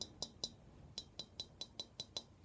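An antique Kinkozan Kyoto Satsuma vase, made of stoneware rather than porcelain, is tapped ten times. Each tap is a short, dry click with a bright high edge that dies away almost at once. The taps give a dull sound with no sustained ring like china, as expected for genuine Satsuma stoneware.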